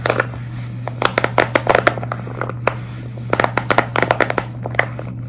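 Long red nails scratch and grip the bubble surface of a large square pastel silicone pop-it fidget toy held flat. The result is a rapid series of short, dry, crackly scratches with bright edges, coming in irregular bursts over a steady low hum.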